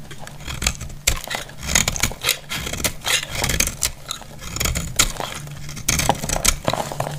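A metal utility blade scrapes and cuts into a solid, palm-sized bar of dry orange soap held in a hand with blue-painted nails, and crumbly flakes fall away. Repeated crisp, bright scraping and crunching strokes come in quick bursts over a low, steady hum. Each stroke dies away almost at once.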